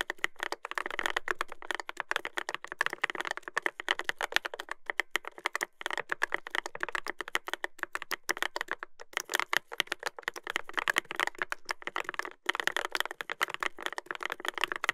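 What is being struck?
Mechanical keyboard with plastic keycaps and metal plate.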